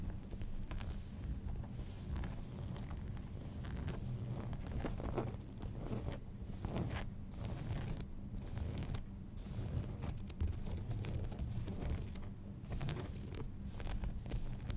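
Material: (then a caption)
Denim. Fingernails scratch back and forth across the fabric surface of folded light-wash denim jeans, around the front pocket area. The result is a steady, close, low rough scratching with a deep rumble underneath and brief bright streaks of rasp on the stronger strokes.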